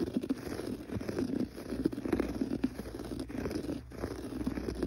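Fingertips scratch across a gray textured pile carpet on the floor. The result is a steady, soft, muffled rustling scrape with quick, uneven bursts of scratching. Its energy sits mostly in the low-mid range with very little bright top end.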